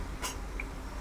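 A piece of deep-fried, flower-shaped sampangi flour snack is lifted out and tapped to check that it is done. A short, bright crack is followed by a faint higher ping over a steady low hum. The tap gives the hard "tung" sound that means the snack, fried on a low flame to keep it crisp, is fully fried through.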